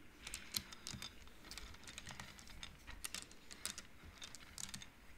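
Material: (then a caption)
Wood. Hands slide and flick painted wooden beads along the rods of an upright wooden-frame abacus. The beads clack in a quick, irregular run of short, dry, bright clicks that stop instantly with no ring, over a faint low rumble.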